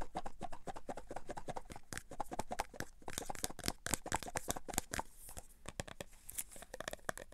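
A full, clear plastic tub of cotton swabs is shaken and tapped with the fingertips, and the swabs rattle inside. The result is a fast, uneven stream of dry clicks, taps and crinkly rattles with short bright transients and almost no ring after each hit.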